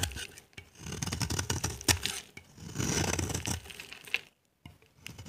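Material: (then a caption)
Soap. A solid, dry, pale-yellow bar of soap held in the hand is scraped with a utility knife blade, shaving it into dry curls. Quick bursts of scratchy, bright, crackling scraping come in an uneven rhythm, with a brief silent pause near the end before a few more scrapes.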